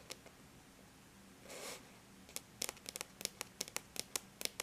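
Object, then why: Aluminum laptop lid tapped with fingernails. Long bare natural nails tap lightly on the flat silver-gray surface of an aluminum laptop lid, making 15 quiet, bright, sharp clicks that stop almost instantly. A single tap comes first, then a brief soft brushing sound, then a quicker run of taps through the second half.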